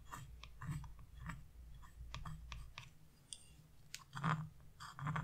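A metal carving chisel, held in a hand with blue nails, scrapes the black coating off a flat scratch-off coloring page. The result is a series of short, dry, crackling rasps with bright, high edges, set over a steady low hum.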